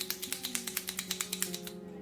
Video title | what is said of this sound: On découvre et on teste les nouveautés "Loisirs Créatifs" de chez Action! | je secoue. Vous voyez ça fait du bruit. une petite bille à l'intérieur.